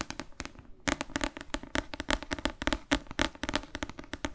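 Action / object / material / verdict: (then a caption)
tap / paperback book with glossy cover / paper / none. Long fake nails tap rapidly on the glossy cover of a thick paperback novel held in both hands. About 28 crisp, clicky taps come in quick bursts, with a brief pause early on. Each tap is bright and dies away almost instantly.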